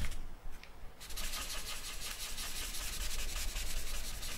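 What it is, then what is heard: Charcoal rubbed on drawing paper. A charcoal stick is dragged and rubbed across a flat sheet of drawing paper on a wooden table to shade a portrait. A few short, soft scratchy strokes open the clip, then give way to a steady, bright rubbing hiss under a faint low hum.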